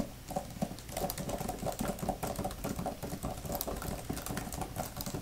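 Long nails and fingertips type and patter rapidly on a grey, thin plastic laptop type-cover keyboard with flat plastic keys. The result is a dense, continuous stream of short, dry clicks and soft low taps, with bright clicky edges over a muffled, hollow body.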